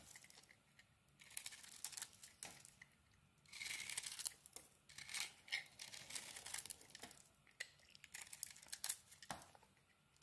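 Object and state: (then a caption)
Dry bar soap being shaved. Thin strips are shaved off the edge of a dry, solid pink bar soap held in the hand, using a small metal blade. Quiet, bright, crisp scraping and crinkly tearing come in short bursts with brief pauses, and there is almost no low end.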